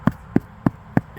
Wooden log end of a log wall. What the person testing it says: you can hear that's Hollow back there